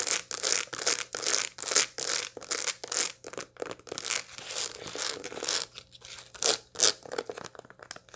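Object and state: Dried sunflower head with seeds.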